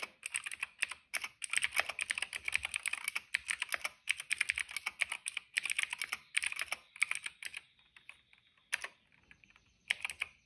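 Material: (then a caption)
Plastic. Fingertips type on a cream plastic retro mechanical keyboard with plastic keycaps and a hollow case. Rapid runs of bright, clacky keystrokes centered around 2.3 kHz come in quick bursts with almost no ring or low end. The typing thins out near the end into a few scattered taps.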